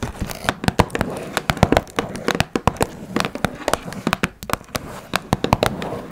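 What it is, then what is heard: Cardboard box tapped with fingernails. A small, hollow blue Twinings cardboard tea box is tapped on its top and sides with long red nails. Quick, dry clicky taps come in an irregular stream, each dying away almost instantly, with a faint crinkly texture underneath.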